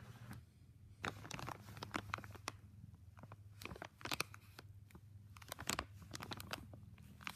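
Fingertips fold, press and crinkle a thin clear plastic bag wrapped around a small flexible tripod. Quiet, crisp bursts of bright crackling come in irregular clusters over a steady low hum.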